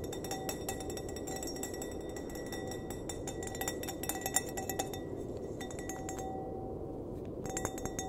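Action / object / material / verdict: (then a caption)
tap / glass wine glass / glass / none. Fingernails tap rapidly on the bowl of an empty, clear, hollow glass wine glass, first held upside down by the base and then upright by the stem. Bright, short clinks with high ringing tones sound over a steady low hiss. The tapping briefly pauses near the end before resuming.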